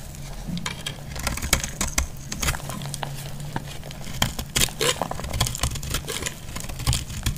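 A metal blade slices and scrapes a dry, solid yellow bar of soap held in the hand. Rapid, crisp crackling scrapes and bright clicks run throughout over a steady low rumble.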